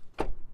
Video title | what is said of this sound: The 2022 Hyundai Santa Cruz is a DIY-er's Perfect Daily Driver (POV Drive Review) | hollow sound of that door closed up